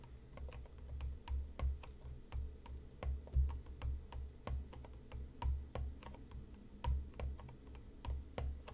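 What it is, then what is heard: Cardboard tea box, hollow. Fingertips tap repeatedly on the top of a closed, hollow, medium-sized printed cardboard tea box resting on a cutting mat. The taps come as soft, irregular, low hollow thumps with faint clicky edges, each fading almost at once. The result is a quiet, uneven patter that sounds somewhat like typing.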